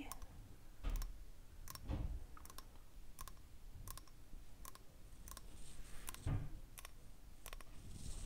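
A small, hollow, glossy mottled brown cowrie-like seashell is held in the fingers while long nails tap and scratch its smooth surface. Sharp, bright clicks come in quick pairs and runs over a faint low rumble, with soft scratching between them. Each tap dies away almost instantly.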